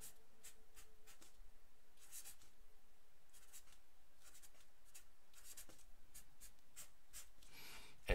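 A black felt-tip pen scratches across a fresh, thin white paper sheet lying flat on a wooden table while the other hand holds the sheet, making writing strokes. The soft, bright scratches come in short bursts over a quiet, low hum, ending with a slightly louder stroke.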